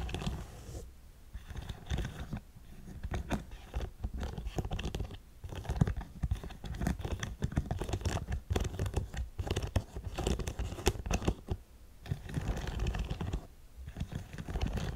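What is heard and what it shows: Long nails scratch rapidly over the studs and suede of a black studded faux suede boot held in one hand. The result is a dense, dry scratching texture, mostly low and muffled with faint brighter edges, coming in busy bursts separated by brief quieter pauses.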